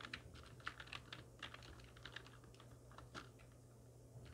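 Long nails and fingertips of both hands type on a full-size black plastic computer keyboard with hollow keys resting on a wooden desk. Quick, light, bright clicks and clacks come in an uneven run, each dying away almost at once over a faint, steady low hum.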